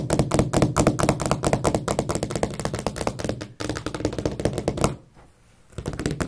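Long acrylic nails and fingertips tap and knock rapidly along a solid white painted wooden skirting board fixed to the wall at carpet level, while the other hand rests still on the carpet. The dense, dry, short clicks and low knocks run steadily, pause briefly near the end, then resume.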